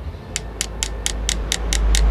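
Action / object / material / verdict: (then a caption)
tap / aluminium electrolytic capacitor can / aluminium / solid. A screwdriver taps another spot on an aluminium electrolytic capacitor can, giving eight sharp, evenly spaced ticks with bright high-frequency clicks over a low background hum. The taps sound solid, indicating the capacitor is filled inside.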